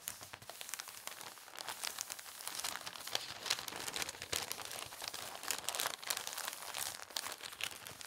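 Fingertips press, rub and crease the folds of a thin paper newspaper sheet folded flat on a table. A dense, steady stream of bright, crisp crinkling and crackling continues throughout, quiet and almost without low end.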